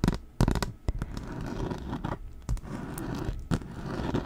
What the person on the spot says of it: tapping and scratching on the sign. I'm trying to hold it in different spots so it'll sound a little different.